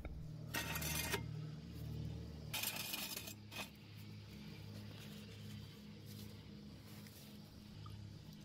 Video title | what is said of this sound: How to Lift A Car with a Jack on Jack Stands (Lift a Chevy, Honda, Toyota, Subaru) | I like to tap it you want there to be a solid sound not a hollow sound just like on here on this frame area well you got a few layers overlapping each other feel strong enough